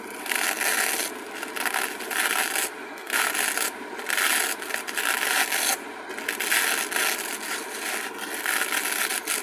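Long acrylic nails scratch and rub the glittery surface of a small, flat, blue-purple glitter-coated craft foam sheet held in both hands. The result is a bright, gritty, scratchy rasping with no low end, swelling and easing in repeated strokes with brief quieter gaps between them.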